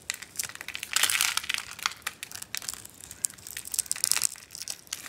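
A solid, hand-sized pink bar of dry soap is carved while held in the hand, with carved soap chips piled in the palm. Dense, dry, crisp crunching and crinkly crumbling come in rapid bursts, bright and airy with almost no low end, swelling to a louder stretch near the first second. Each scrape cuts off instantly with no ring.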